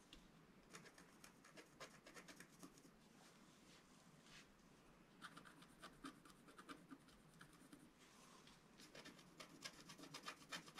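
A wooden stylus scratches strokes into the black coating of a flat, thin scratch art sheet. Quiet, dry, bright scratching comes in quick, irregular bursts of short strokes with no ringing after each one.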